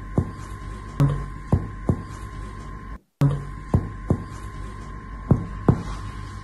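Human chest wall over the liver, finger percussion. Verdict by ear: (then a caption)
Dull. Nine percussion taps move down the midclavicular line of a human chest wall, and the note turns dull over the solid liver, a normal finding. This marks the lower border of the lung and the upper border of the liver. The short, low thuds sit over a steady electrical hum, with a brief dropout in the middle.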